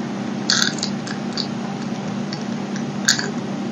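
A utility knife blade scratches and chips the edge of a solid blue-and-white striped bar of soap held in both hands. Sharp, bright scraping clicks stand out over a steady low hum, with the strongest ones near the start and again toward the end.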